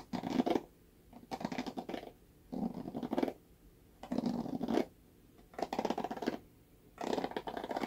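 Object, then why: Plastic paddle hairbrush bristles. Fingernails scratch and strum the plastic bristles of a red plastic paddle hairbrush held by its handle. Six separate bursts of rapid, crackly scratching, each under a second long, are split by short quiet gaps. Each burst has a warm, raspy body with a bright hiss on top.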